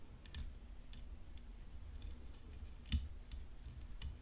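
Long painted fingernails tap the hollow frame of a rhinestone-decorated graphite composite tennis racket. The result is quiet, short, bright clicks that die away almost instantly over a soft low rumble and a faint steady high tone, with one slightly louder tap near the three-second mark.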